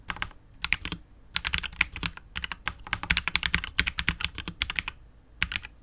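Fingertips of both hands type continuously on a KBD67 Lite R2 65% mechanical keyboard with KTT Wine Red switches, PBT keycaps and a hollow, clear translucent polycarbonate case. Rapid, bright, clacky keystrokes come in uneven bursts separated by short pauses, each tap sharp and dying away almost instantly, with a faint low thump beneath.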